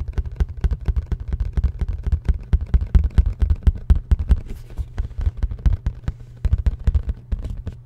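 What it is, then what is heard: Cardboard box tapped with fingers. Fingertips and nails tap and scratch a hollow black printed cardboard product box held close to the mic. A rapid, uneven run of dull, low, hollow thuds follows, each very short and without ring, with faint scratchy texture between the taps.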